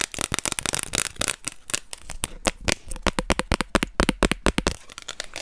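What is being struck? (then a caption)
Thin plastic card. A thin orange plastic card held in both hands is scratched and tapped on its surface and edge with long nails. The result is a rapid, irregular run of sharp, dry clicks mixed with bright scratchy crackle. Each tap stops almost instantly.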